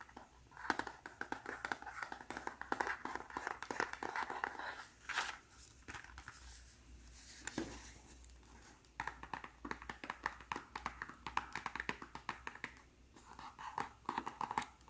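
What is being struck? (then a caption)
Small cardboard box. A small white cardboard press-on nail box is held in both hands while fingertips and short nails tap and scratch its printed back and folded top flap. The result is a quiet stream of quick, dry, papery taps and crinkly scratches that pauses to softer rustling midway before the tapping picks up again.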